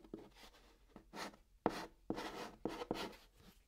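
A hand writes Korean text with white chalk on the top of a hollow brown cardboard box. Six quiet, steady strokes scratch across the cardboard, each a dry, breathy rasp with a faint hollow tone from the box and no lingering ring.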